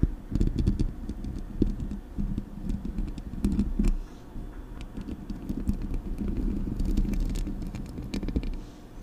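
Long acrylic nails scratch and tap the hollow metal mesh grille of a silver Blue Yeti USB microphone. A dense, steady stream of quick taps and scrapes sounds thuddy and low-heavy, with scattered brighter clicks and no ring after each touch. The level rises and dips slightly throughout.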